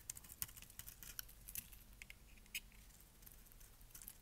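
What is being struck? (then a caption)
Bar of soap. A metal blade scrapes and cuts flakes from the faceted surface of a dry, solid, palm-sized lilac bar of soap held in the hand. Quiet, bright, crisp clicks and crackles patter irregularly over a soft scraping hiss, each tick dying away almost instantly.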